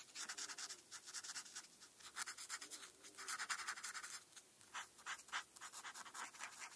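A felt-tip marker scratches and rubs back and forth across a flat paper coloring sheet, filling in a star and dots. The quiet, bright, hissing strokes come in rapid short bursts with brief pauses between runs.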